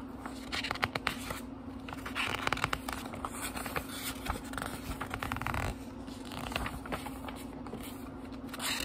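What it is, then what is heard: Thin paper book pages being flipped. Fingertips quickly flip the thin paper pages of a small, thick book, producing a rapid run of crisp, papery flicks and soft rustling over a faint steady low hum. The flutter swells into a denser, louder burst of page riffling near the middle before settling back to lighter, scattered flicks.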